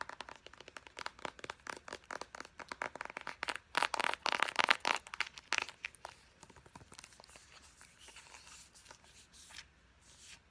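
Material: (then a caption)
Soft plastic. Long painted nails tap fast along the hollow body of a white-and-red soft plastic lotion tube held in both hands. The result is rapid, crisp, bright clicks with a crinkly edge and no low end. The taps are loudest and densest around the middle, then thin out into softer, sparser taps toward the end.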